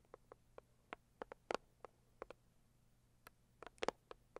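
Long acrylic nails tap and scratch the lid of a closed, hollow, medium-size pink floral Saviland cardboard gift box. About fifteen quiet, short, dry taps land at uneven intervals, each with a hollow midrange knock around 500 Hz that dies away instantly, with faint scratching between them and near-silence around them.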